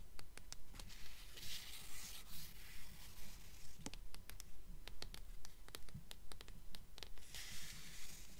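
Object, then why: Hardcover book with paper dust jacket. Long nails rub and tap the paper dust jacket of a blue hardcover book held at a tilt. Soft, bright scratching swells in a steady, regular rhythm, broken by short, crisp taps over a quiet, low background rumble.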